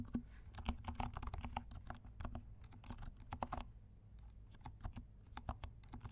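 Fingertips of both hands type on a compact black mechanical keyboard with black and pink plastic keycaps. The result is a quiet, irregular run of short, soft key clicks over a low background hum.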